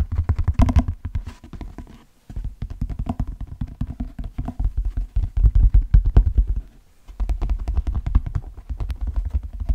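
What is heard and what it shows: Fingertips tap and scratch the shaft of an empty brown leather cowboy boot with a stitched pattern. The result is a fast, steady stream of soft, dull, low thumps with a faint scratchy texture, briefly pausing twice before resuming.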